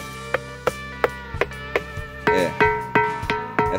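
A granite boulder, the middle one of several rocks, is struck about ten times in a steady rhythm and answers each blow with a clear, bell-like ring centred near 480 Hz with bright overtones. The later strikes are louder and ring a little longer. Only this middle rock rings; the others sound like ordinary stone.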